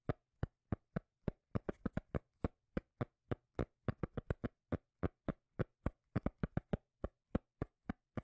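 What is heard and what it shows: A cork lid is tapped in a quick, uneven run of short, dry, muted knocks, each dying away almost instantly. The taps carry a low, bassy thump with a faint steady low hum between them.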